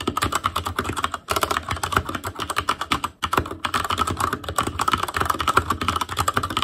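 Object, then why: Mechanical keyboard with plastic keycaps. Fingertips of both hands type rapidly on a full-size ASUS ROG Claymore Core plastic mechanical keyboard with plastic keycaps on Cherry MX Red switches, a metal plate, a hollow case and RGB backlight. Dense, fast clacking comes in two brief pauses, each keystroke a short dry tap with a hollow ring around 1.4 kHz.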